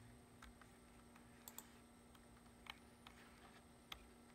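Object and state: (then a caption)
Plastic computer keyboard. Fingertips tap the keys of a black plastic computer keyboard resting on a wooden desk, typing in close-up. Short, dry plastic clicks come at an uneven pace, a few landing sharper and brighter than the rest. A low steady hum and a faint high whine sit underneath throughout.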